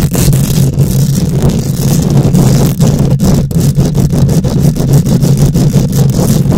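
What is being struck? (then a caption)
Wire-mesh microphone grille. Long nails scratch back and forth across a hollow wire-mesh metal microphone grille. The result is a continuous, dense, rough scraping that sounds mostly like a deep, boomy rumble centered around 150 Hz, with many short raspy streaks running through it.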